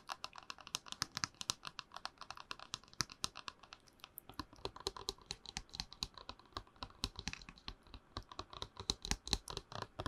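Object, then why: Plastic tumbler tapped with fingernails. A tall, hollow, empty plastic movie promo cup with a printed movie poster wrap is held in both hands and tapped and scratched with long manicured nails. Rapid, dry, clicky taps mix with light scratching, bright and crisp with almost no ring, continuing steadily throughout.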